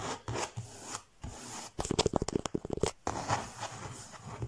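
Fingertips and nails scratch and rub a textured faux leather (leatherette) cover printed with the Eiffel Tower. Soft, dry rubbing swishes give way in the middle to a fast burst of short, crisp scratches, then settle back into quieter rubbing.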